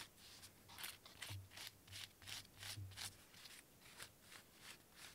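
A hollow-looking, hand-sized, cone-shaped cork cat toy with felt ears has its textured cork surface scratched and rubbed by fingernails. Bursts of bright, dry scratching repeat in a loose rhythm, with a faint low hum underneath.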